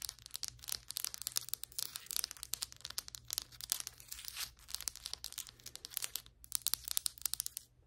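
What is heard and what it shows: Long white acrylic nail tips tap and scratch quickly across large, flat, solid ceramic floor tiles, producing a rapid run of sharp, bright clicks mixed with scratchy rasps. The sound is almost entirely high-pitched, with very little low end. Each tap dies away instantly, and there is a brief pause near the end before the tapping resumes.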